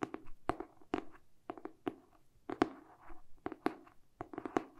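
A medium-sized, solid hardcover paper book with a glossy cardboard cover, held in both hands, is tapped and scratched with short painted fingernails and fingertips. Crisp, dry taps with a hollow midrange thud come in quick irregular bursts, with soft scratchy rustling between them. Each tap dies away almost instantly with no ring.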